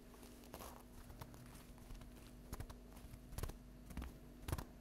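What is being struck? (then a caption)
Stack of paper napkins tapped with fingernails. Long acrylic fingernail tips rapidly tap the top of a flat stack of paper napkins lying on a table. The taps are soft, dull and papery, coming in quick, irregular bursts over a faint low hum, with a few louder clusters toward the end.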